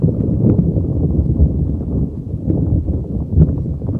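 A neon green soft rubber spiky puffer ball is rubbed and squeezed with fingers over a microphone. It makes a steady, muffled, low rumbling rub with soft thuddy pulses, with almost no high end.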